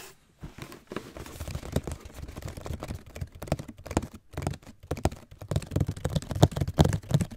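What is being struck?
Cardboard shoe box.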